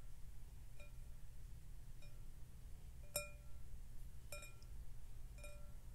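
Fingertips and nails tap the rim of a large, clear, empty glass bowl held in both hands as it rests on a glass tabletop. Each tap gives a short, chime-like clink with a ringing tone near 590 Hz and bright overtones. A steady low hum runs underneath throughout.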